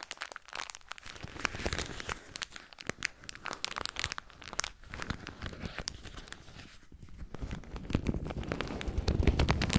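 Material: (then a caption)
Paper. A small piece of white paper tissue, held in both hands close to the microphone, is crumpled and torn with the fingers. Dense, irregular crinkling and tearing crackles continue throughout, growing louder and fuller toward the end.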